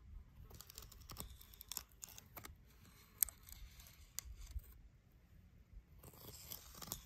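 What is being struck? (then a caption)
Dead tree branch, bark and wood. A thin twig taps and scratches along the surface of a solid dead tree branch, tracing the wood-worm corridors in its partly peeled, cracked bark. Quiet, dry, crisp ticks and brittle scraping rasps carry bright, high detail over a soft low rumble. Each tap stops short with no ring.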